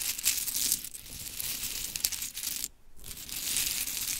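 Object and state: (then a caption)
Pile of small wooden clothespins being raked. Hands gather a pile of small pink painted wooden mini clothespins on glitter fabric while long chrome nails scratch and rake through them. This makes a dense, bright clatter of light clicks and scrapes. The sound cuts out briefly near the three-second mark, then the raking resumes.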